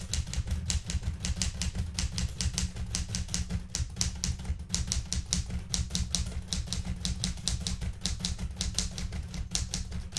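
Fingertips with red-painted nails type steadily on the plastic keys of a blue metal portable manual typewriter. Rapid, continuous clacks sound, each key strike bright and sharp over a dense low thump, with no pauses.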